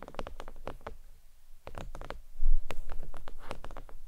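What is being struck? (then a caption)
Faux leather desk mat on a towel. Long nails tap quickly across a thin, flat, red stitched faux leather oval desk mat lying on a towel. The result is a run of soft, dull, short clicks with little ring, coming in uneven bursts that grow a little louder and denser toward the end.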